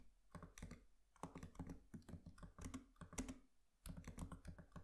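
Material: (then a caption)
Plastic. Both hands tap with their fingertips on the black plastic keys of a MacBook Pro laptop keyboard with an aluminium body. The result is quick, soft, dull clicks in uneven bursts, with a brief lull near the end before the typing resumes. Each tap is short and low-heavy with very little bright edge.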